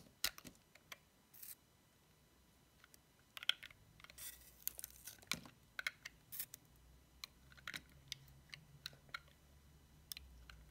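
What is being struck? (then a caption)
Soap bar cut with a metal knife blade. A metal utility knife blade cuts and shaves a solid bar of dry, cream-white soap decorated with a cat face and paws, held in the fingertips. The result is a quiet series of crisp, bright clicks and snaps, broken by a few longer dry scraping bursts as the blade shaves the bar. Each sound is short and stops almost at once.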